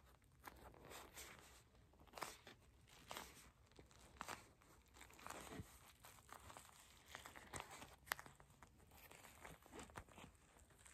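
Long acrylic nails tap and scratch on a purple gel bead eye mask, a soft plastic pouch filled with gel beads, first as it rests on a table and then as it is held up. The result is quiet, uneven crinkly taps and scratching with short crunchy bursts.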